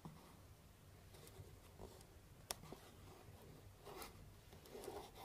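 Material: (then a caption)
Cardboard. A hollow, medium cardboard box wrapped in pink star-print paper with a purple ribbon sits on a table and is scratched and tapped with long painted nails. Quiet, dry scratching runs throughout over a low hum, broken by a few sharp, bright taps that die away almost instantly.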